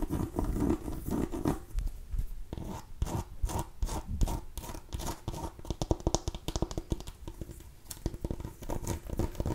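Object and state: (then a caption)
Mini pumpkin. A small cream-and-orange striped mini pumpkin, a hollow gourd held in the hand, is scratched and tapped with long nails. Dry, rasping scratches mix with quick, dull taps that die away almost instantly. The sound is muffled and low-heavy, with only faint bright edges.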